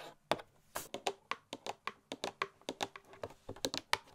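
Long nails tap rapidly on the edges and sides of a printed cardboard Christmas gift box held up in the air. About 19 crisp, dry, keyboard-like clicks sound in quick, uneven succession, each bright with very little low end. Each click dies away almost at once.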